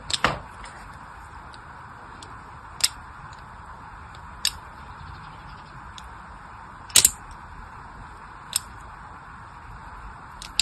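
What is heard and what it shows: A solid pink bar of soap is rotated in the hand and scored with a thin carving blade making line cuts. Several short, sharp, bright scraping clicks stand out at irregular intervals over a steady soft hiss, each fading almost instantly.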